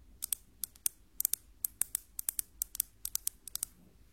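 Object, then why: Ruler tapped. A metal ruler is tapped 20 times in quick, irregular succession, producing sharp, bright clicks concentrated in the high frequencies with almost no ring after each tap. In a sound-distinction test, the taps are identified as metal, in contrast to a wooden ruler.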